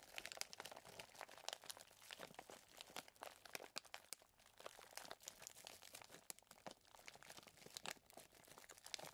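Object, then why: Plastic zip bag filled with chocolate chips. Two hands squeeze and rub a clear plastic zip bag full of small chocolate chips with their fingertips. The result is a steady, quiet stream of bright, dry crinkling and crunching, with many quick, crisp rustles that fade almost instantly and almost no low end.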